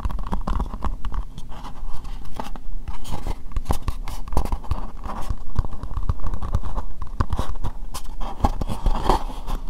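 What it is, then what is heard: Plastic bowl tapped with nails. An empty, hollow, translucent pink plastic bowl is tapped with long nails on both the inside and the outside. The result is a steady stream of quick, dry, hollow taps and clicks with a low, thuddy body and almost no ring after each hit.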